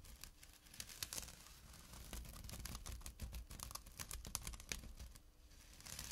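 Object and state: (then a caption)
Burlap bag scratched. Short fingernails scratch the coarse weave of a small, empty jute burlap drawstring pouch resting on dark cloth. The result is a dense run of quick, dry, bright rasps and crinkly scrapes over a low, steady rumble, with brief louder flicks scattered throughout.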